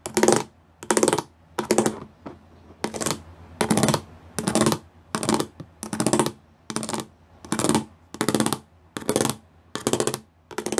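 Several fingertips tap fast on a grey plastic sheet covered in square pyramid bumps. The taps come in short, evenly spaced bursts of rapid, bright, dry clicking with a faint hollow plastic tone underneath, separated by brief quiet gaps.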